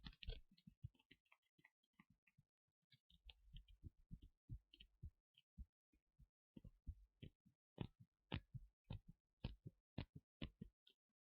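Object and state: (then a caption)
Leather costume piece, tapped. Fingers tap and scratch on the leather parts of a Rey cosplay costume, producing soft, dull, low-pitched thumps with brief faint scratchy rustles. The taps come in an uneven run, quiet and close, with little ring after each.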